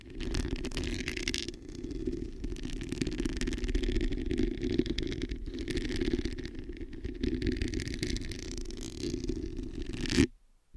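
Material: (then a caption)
Metal mesh. Long nails scratch and tap the hollow metal mesh head of a black microphone, producing a steady, dense scratching rasp with a heavy low rumble and a brighter hiss above. The sound stays continuous for about ten seconds, swells briefly, then cuts off abruptly.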